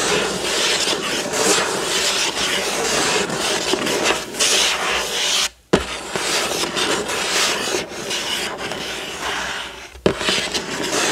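Fingertips and nails scratch over the astronaut image on a hollow, printed cardboard building-block box lying flat on a table. The result is a steady, bright, raspy scratching, with two brief silences, each ending in a sharp onset as the scratching resumes.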